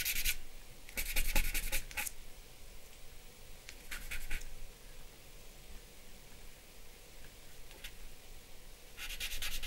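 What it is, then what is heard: Charcoal rubbing on drawing paper. Charcoal and fingers rub and shade a flat sheet of drawing paper bearing a charcoal portrait. Short bursts of bright, dry scratching strokes come in clusters, separated by quieter stretches of soft rubbing over a low, steady background.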